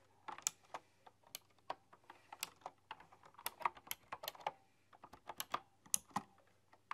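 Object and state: Typewriter-style mechanical keyboard being typed on.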